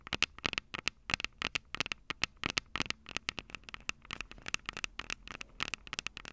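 Long purple nails tap and scratch the two silver metal mic capsules on the plastic body of a Tascam DR-05 handheld recorder. Quick, bright clicks and ticks fall in uneven bursts with a faint scraping between them, each hit dying almost instantly.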